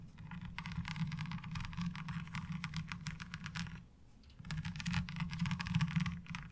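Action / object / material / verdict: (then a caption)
tap / ribbed plastic laundry washboard tapped with long fingernails / plastic / none. Both hands rapidly tap long nails on the ridges of a light blue ribbed plastic laundry washboard. Dense, fast, bright clicking runs over a steady low hum, eases off briefly just before the four-second mark, then resumes louder to the end.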